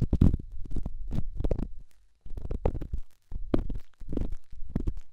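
A solid rough rock held in the fingertips is rubbed and scratched against a silicone microphone ear, giving deep, muffled scraping and thudding bursts with bright scratchy edges. The sound comes in uneven clusters, with brief silences between the passes.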